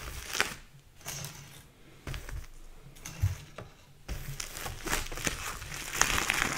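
Fingers lift, flip and crinkle the plastic sleeve pages of a thick photo album. Irregular bursts of bright crinkling and rustling come with soft low thumps as the sheets turn and settle, and the clip grows denser and louder toward the end.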